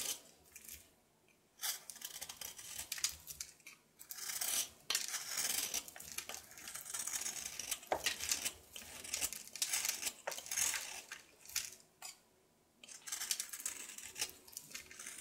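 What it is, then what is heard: Soap bar being shaved with a knife. A knife scrapes and shaves the top surface of a solid painted soap bar held in the palm. Bright, crisp scraping and shaving strokes come in bursts, separated by brief quiet pauses, with almost no low end.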